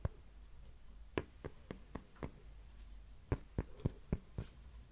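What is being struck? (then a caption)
Thin cork coaster. A thin, flat, solid heart-shaped cork coaster is held in the hands and tapped and scratched with long nails. Eleven short, dry, dull taps with almost no ring come at an uneven pace over a quiet, soft scratchy bed.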